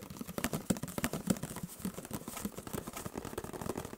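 Fingertips and nails rapidly tap and scratch the printed sides of a hollow, orange-and-white paperboard juice carton, about a litre, held in one hand close to the microphone. Quick, irregular dull taps with a low hollow thump mix with dry, papery scratching and crinkly brightness, each tap dying away almost at once.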